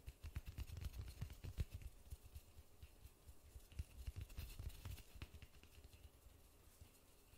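White-gloved fingers tap and rub a large white polystyrene foam ball. The result is a quick, irregular patter of soft, dull, low thumps that die away almost instantly. Faint bright scratchy rubbing runs between the taps, and the tapping grows quieter and sparser toward the end.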